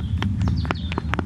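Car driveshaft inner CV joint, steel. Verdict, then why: Worn. An old passenger-side driveshaft from a Vauxhall Vectra C is twisted back and forth by hand, and its worn inner joint gives a series of short, dull knocks over a steady low rumble. The inner joint has play, making an awful knocking noise, and this worn joint is the cause of the car's knocking.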